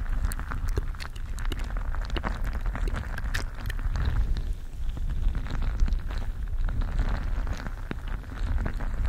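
A mesh stress ball filled with gel beads is squeezed and kneaded with fingers close to the microphone. The result is a continuous, dense wash of wet squishing and crackling, with a deep low rumble and scattered sharp, bright clicks and pops. It stays at a fairly steady level throughout.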